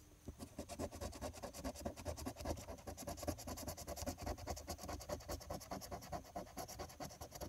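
A coin rapidly scratches the latex coating in the Game 2 area of a flat paper lottery scratch-off ticket held flat with one hand. The result is a dense, fast run of short, dry scraping strokes with a bright, gritty texture over a faint low rumble.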